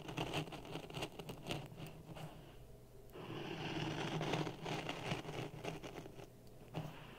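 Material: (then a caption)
Sand. A thin wooden stick stirs and scrapes dry grey sand in a clear plastic cup resting on a red microphone. Close, gritty rasping and soft hissing grains come in quick, uneven strokes over a low rumble, with a smoother, steadier swirl in the middle.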